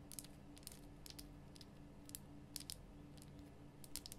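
Long nails tap the rough sides of a large, glowing pink Himalayan rock salt lamp, a solid salt block. About twelve short, bright, clicky taps with almost no ring sound quietly over a steady low hum.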